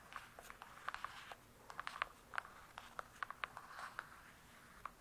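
Long nails tap and scratch near the top edge of a large closed hardcover book with a glossy cardboard cover. Quiet, sharp clicky taps with a midrange ring around 1.1 kHz come in an irregular string, over a soft, hissy scratching rustle. Each tap dies out almost instantly, with almost no low end.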